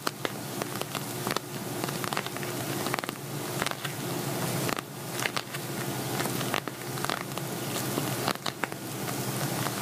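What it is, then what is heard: Glitter vinyl cosmetic bag. An empty, hollow silver glitter vinyl zippered cosmetic bag is tapped and scratched with fingernails. Crisp, crackly taps and bright scratching rustle over a steady hiss, with sharper bursts every second or two.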